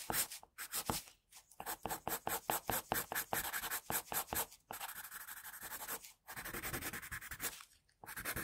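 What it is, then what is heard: Pencil shading on drawing paper. A sharpened graphite pencil makes long shading strokes across a flat sheet of drawing paper, filling in the hair of a pencil portrait. The first half is a rapid run of short, bright scratching strokes. The second half turns into steadier, longer rubbing passes with brief pauses between them.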